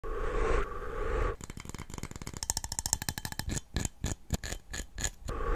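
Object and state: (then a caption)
Cup being tapped. A cup is tapped rapidly, producing a quick run of short, dry clicks with a bright ring that speeds into a dense flurry before slowing to a few spaced, separate taps. A steady low hum fills the start and end of the clip.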